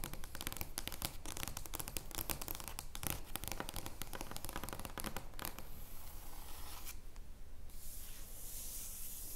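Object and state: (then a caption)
Large cardboard playing card being scratched. Long painted nails scratch and rub, with both hands, across the surface of a large, flat, printed cardboard joker playing card resting on a wooden table. Dense, crackly scratching with sharp bright strokes fills the first five seconds or so. It then eases into a softer, steady hissing rub.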